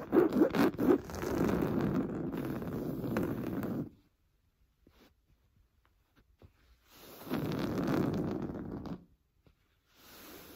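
A large stuffed cream pillow of fine-weave fabric with a piped seam is scratched with fingernails. Quick sharp scratches lead into nearly four seconds of steady, dense, dry scratching, then a near-silent pause with faint ticks. A second scratching burst runs from about 7 to 9 seconds, and a quieter one starts at the end.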